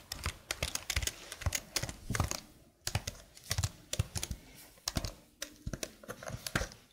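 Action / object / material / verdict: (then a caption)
tap / plastic computer keyboard / plastic / none. Long blue nails and fingertips type on the keys of a slim black plastic computer keyboard held flat. A quick run of crisp, bright clicks, each with a dull low thump, comes in uneven bursts with a brief pause partway through. Each tap dies away almost instantly.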